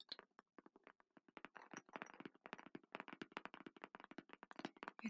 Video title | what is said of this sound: Gentle Tapping ASMR • Calm, Soft Sounds to Unwind | It's much more hollow tapping, definitely more hollow than the other one